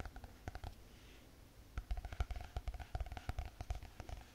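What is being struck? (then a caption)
Spiral notebook with hard cardboard cover. Long painted fingernails tap quickly on the hard cardboard cover of a closed spiral notebook. The result is a rapid run of soft, dull, low thuds with almost no ring and very little brightness. A quieter stretch in the first half gives way to denser, more pronounced taps.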